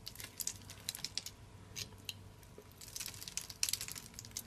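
A small metal blade scrapes and carves a solid, hand-sized bar of dry purple soap held in one hand, cutting it into grid cubes that crumble off. Quiet, crisp, high crunching and crackling bursts come in quick irregular clusters over a faint low hum.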